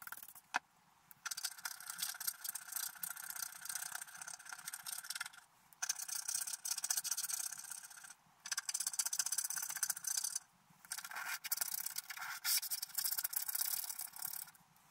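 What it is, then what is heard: Scratch art paper card being scratched. A wooden stylus scratches a scratch art paper card whose coating is mostly removed, working near the bottom and the border, with a brush lying beside it. Steady, bright, dry scraping comes in several long bursts, broken by short pauses. Each burst has a rapid ratchet-like grain and almost no low end.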